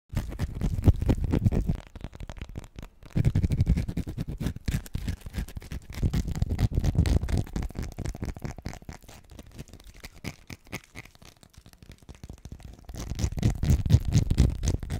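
Fingernails, long and natural, scratch and tap quickly on the surface of a solid, hand-sized, cream-coloured bar of soap held in one hand close to the microphone. The sound is a dense, fast, muffled scratching and tapping, mostly low-pitched and thumpy. It comes in louder bursts at the start and around the middle, fades quieter for a few seconds, then grows loud again at the end.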